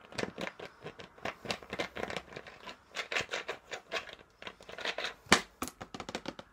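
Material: Plastic.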